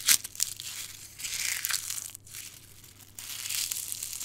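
A bare hand crushes and crumbles a handful of brittle, dark red dried rose petals between the fingers and palm, above a pile of petal fragments. The sound is a dry, bright crackling and crinkling, opening with a sharp crunch and coming in waves. There is a brief pause near the middle before the crumbling resumes.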